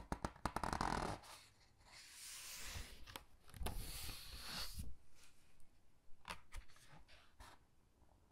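Fingertips with long dark nails rub, squeeze and turn the glossy pages of a large hardcover Titanic book filled with black-and-white photos. Sharp nail taps and clicks are followed by long, bright, papery swishes and rustles as the pages are gripped and flipped over. A few more crisp clicks and soft rubbing follow as the pages settle.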